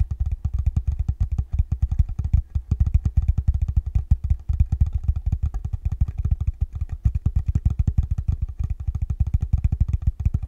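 Fingertips tap quickly and steadily on the top of a small rectangular wooden block or box, possibly hollow, held up in both hands. Each tap is a deep, short thud with almost no ring, and the taps run together into a continuous low drumming that lasts the whole clip.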